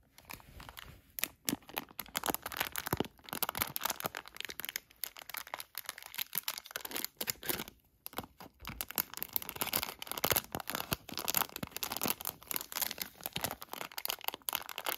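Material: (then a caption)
Plastic. A palm-sized HotHands hand warmer package of crinkly clear and printed plastic, with warmers inside, is traced and scratched with fingertips and short nails and then turned over to the back. The result is a dense, bright run of crinkling and crackling with sharp scratchy transients and brief quiet gaps.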